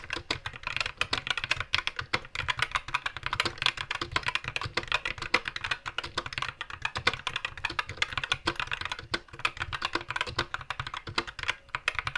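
Fingertips of both hands type steadily on a compact white mechanical keyboard with plastic keycaps and a green backlight, resting on a wooden desk. A continuous stream of crisp, bright plastic key clicks and taps is heard, each dying away almost instantly, with a faint low thud beneath them.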